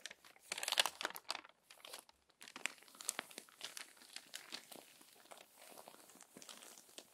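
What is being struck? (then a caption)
Paper magazine. An open, crumpled paper magazine has a page turned, then long-nailed fingers rub and smooth the crinkled paper. Dry, bright crinkling and rustling comes in bursts, loudest in the first two seconds, then settles into a steadier, softer crackle with nothing in the low end.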